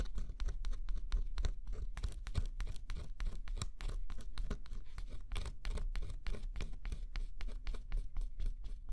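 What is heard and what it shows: A thin scraper stylus scratches the black scratch-off coating on a flat cardboard jigsaw puzzle, revealing the colour underneath. Rapid, steady strokes make a dry, bright scratching with short, crisp bursts over a faint low rumble, continuing throughout the clip.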